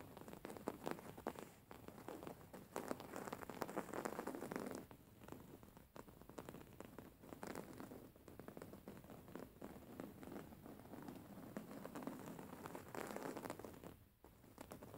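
Long fingernails of both hands scratch fast over a soft, stuffed white embroidered cotton pillow with raised thread embroidery. The result is a dense, continuous crackling scratch, concentrated in the mid-range with little deep low end, that swells and eases in waves. The sound drops briefly just before the end.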